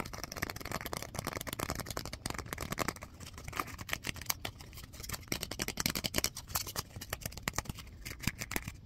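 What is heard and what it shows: A small folded piece of white paper is held close and rubbed and crinkled between the fingertips. It gives a steady run of quick, dry crackles and crisp ticks with a bright, papery hiss. The crinkling is soft and continuous, with sharper snaps now and then.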